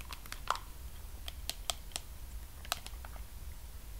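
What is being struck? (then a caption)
Plastic cosmetic cream jar. Fingertips and nails tap and scratch along the sides and white screw lid of a medium pink plastic Sol de Janeiro body cream jar with a wrapped label, held in one hand and likely full. Scattered, crisp, bright clicks and light scratches sound over a steady low hum, each tap dying away almost instantly.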